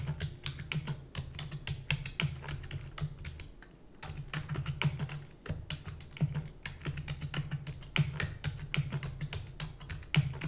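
Fast fingertip and fingernail typing on the plastic keys of a black plastic computer keyboard produces a dense stream of sharp, bright clicks and clacks with very short decay. A steady low hum runs underneath and briefly drops out near the 4-second mark, when the typing also slows before quickly resuming.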